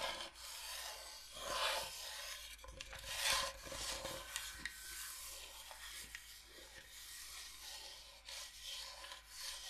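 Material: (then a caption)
Bamboo. Long nails scratch and rub across a large, flat, solid bamboo cutting board shaped like Michigan. The result is a quiet, dry, bright rasping with uneven swells of scraping strokes.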